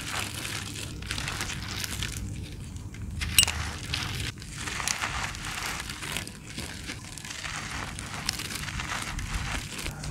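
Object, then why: Sand-cement clumps. Two bare hands crush and crumble fist-sized, solid, dry, gritty sand-cement clumps with the fingers and palms, near molded sand-cement mounds, as loose grains fall. The result is a steady run of gritty, bright crunching and crackling with short, dry bursts and no ringing tail.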